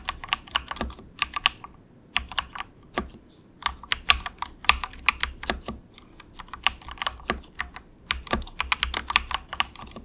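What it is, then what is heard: Plastic mechanical keyboard. Both hands tap with their fingertips in soft, quick bursts on the cheapest compact 68-key wireless mechanical keyboard, which has grey and orange plastic keycaps and a hollow plastic case resting on a desk mat. Bright, clacky keystrokes come in rapid runs separated by short pauses, each one dying away almost instantly with very little low end.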